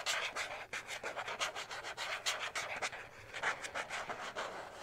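A thin, rigid white plastic card with a slot punched near its top edge is held in both hands and rubbed and scratched with fingertips and short nails. It makes a rapid run of dry, bright, scratchy strokes with almost no low end, each stroke fading quickly.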